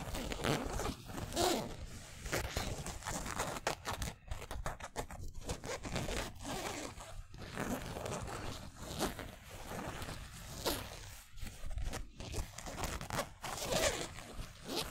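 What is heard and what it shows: Fingernails and fingertips scratch across the twill lettering on a yellow San Francisco basketball jersey made of polyester mesh. The result is a continuous run of dry, raspy scratching strokes with bright, hissy edges and a zipper-like texture, broken by brief pauses between passes.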